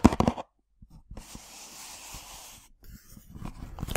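Long black-painted nails scratch and rub across the front face of a small, hollow, printed cardboard box of herbal tea bags lying on a table. A burst of dry, crackly scratching opens the clip, then after a brief silence comes a soft, hissy rubbing with faint taps, before brighter scratches return at the end.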